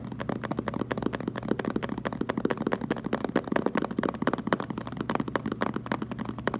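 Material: Plastic.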